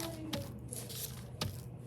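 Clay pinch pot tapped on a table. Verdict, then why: Soft. A soft, plastic-stage clay pinch pot is tapped on a table, giving dull, low, muffled thuds with almost no ring over a faint background hum. The pot changes form when tapped, showing it is still soft and not yet leather hard.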